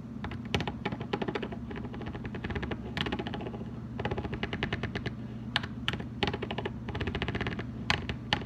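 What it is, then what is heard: Plastic wide-tooth comb. Fingernails flick quickly across the teeth of a red plastic wide-tooth comb, giving a rapid clicking. The sharp, bright clicks come in dense bursts with brief pauses, over a steady low hum.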